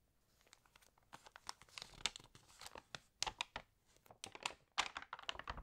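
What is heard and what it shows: Fingernails tap and scratch the pages of an open, water-damaged glossy paper magazine as the pages are turned. The result is a quiet, rapid run of crisp, bright crinkles, ticks and short tearing-like rustles that stop quickly, with almost no low end.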